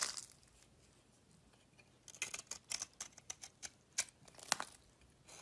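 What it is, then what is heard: Bar of soap being shaved with a knife. A metal utility knife blade shaves flakes from a solid cream-coloured bar of soap held in the palm. After a brief scrape and a quiet pause, a rapid series of crisp, bright scraping clicks follows, each short and dry with almost no low end, fading back to near silence with a final soft scrape.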